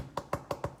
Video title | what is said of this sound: Healthy 5 min cracker that don’t taste like cardboard! | i can tap on them and they go you know a nice hollow sound so till they're crunchy